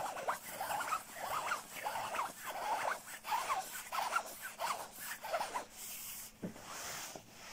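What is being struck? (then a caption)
Quilted nylon down jacket. Fingertips scratch and rub the shell of a soft, padded black quilted nylon down jacket. The result is a steady series of quiet, papery swishing and crinkling strokes with a bright hiss. The last few seconds turn into a smoother, softer rubbing.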